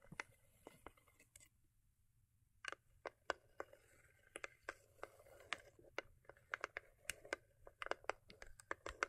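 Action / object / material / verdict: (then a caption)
tap / small foil-covered cardboard gift box / cardboard / none. Long acrylic nails tap and scratch the lid top of a small, hollow, cube-shaped rigid cardboard gift box with a holographic foil-paper covering, resting on faux fur. About 26 quick, dry, crisp taps sound with soft scratchy rustling between them, centered around 1.5 kHz with bright high edges. A brief near-silent pause comes around two seconds before the tapping picks up again and grows denser.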